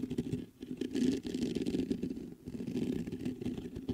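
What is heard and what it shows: Fingertips scratch and tap the mesh grille of a black metal USB condenser microphone. The sound is a dense, close run of low, muffled scratching and soft tapping centered around 270 Hz, with brief dips between bursts and almost no high content.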